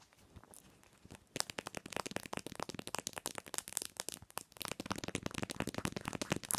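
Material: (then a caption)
Plastic. Long nails tap and scratch the back of a phone in a white plastic case with a pink cherry print and a metal ring holder, lying face-down on a pillow. Soft scratching gives way to rapid, dry, bright clicking taps with almost no ring. The tapping eases briefly midway before resuming quickly.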